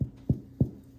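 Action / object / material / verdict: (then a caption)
knock / baked sourdough bread loaf / bread / hollow. The bottom of a second baked sourdough loaf is thumped three times, giving short, hollow, low thuds that die away almost at once. The hollow sound shows this loaf is baked through, just like the first one.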